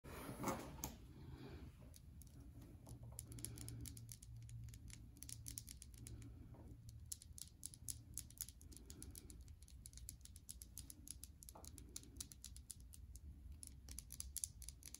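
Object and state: Soap bar.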